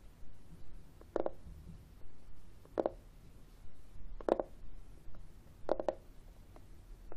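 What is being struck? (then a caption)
Plastic external CD drive casing. Fingernails scratch and tap the textured surface of a flat, hollow, black plastic external CD drive casing held in the hand. Soft, low scratching runs throughout, broken by four louder, dry, hollow taps with almost no ring.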